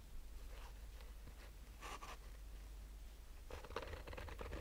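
Fingernails of both hands slowly scratch the top of a black mesh-fabric hard-shell sunglasses case resting on a table. Soft, dry scratching comes in brief bursts near the start and middle, then turns into a denser, brighter run of scrapes at the end. A steady low hum sits under the whole quiet clip.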